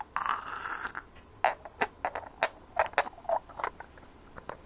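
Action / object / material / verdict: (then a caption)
tap / small textured ceramic ornament / ceramic / none. A hand-sized white ceramic ornament with a rough, sandy textured surface and small glazed blue and cream decorations is tapped and scratched with long nails. A brief scratchy rasp opens, followed by a quick, irregular run of short, dry clicking taps with a mid-range ring that dies away almost at once.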